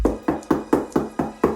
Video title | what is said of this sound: Barber Tutorial: Recommended Shoes for Barbers | Sound like you knocking on the goddamn door